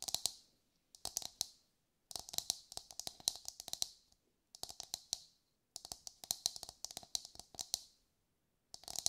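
A brown husked whole coconut with a hard fibrous shell is held in both hands and tapped with long light-grey nails. Quick bursts of sharp, dry, bright clicking taps arrive in clusters separated by short silences. Each tap stops almost instantly, with a faint midrange knock beneath the high click.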